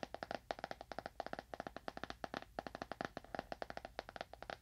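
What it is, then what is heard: Leather-bound book. Fingernails of one hand tap fast on a solid, dark leather-bound book held upright near a binaural microphone. About thirty-two crisp, dry clicks come in quick bursts with brief pauses between them, each centered near 680 Hz with bright overtones and almost no ring.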